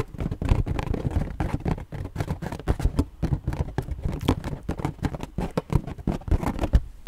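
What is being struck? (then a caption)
Inflated rubber balloon. A hollow, inflated purple latex balloon is tapped and scratched with long nails, giving a rapid, uneven patter of soft, dull thumps mixed with brief scratchy rubs. The sound is deep and muffled, with very short, dry taps that die away almost instantly.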